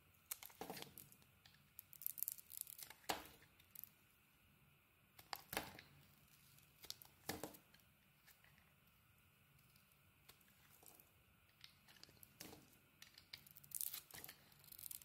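A utility knife blade scrapes and peels the black outer layer off a solid cream bar of soap. Short, bright, crisp scraping strokes come in irregular bursts over a quiet background, each dying away almost at once.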